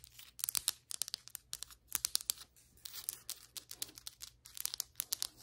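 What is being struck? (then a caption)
Ceramic floor tile tapped and scratched with fingernails. Long white acrylic nails, on both hands, tap and scratch across flat solid ceramic floor tiles. The result is a quiet, rapid flurry of bright, crisp clicks and scrapes, each dying away almost instantly, with brief pauses between bursts over a faint steady low hum.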